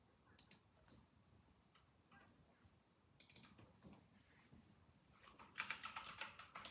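Fingertips tap the round plastic typewriter-style keycaps of a white and silver RK960 mechanical keyboard on a desk. About sixteen short, bright clicks come quietly and irregularly at first, then bunch into a faster, louder burst of typing at the end. Each click dies away almost instantly over a faint background hiss.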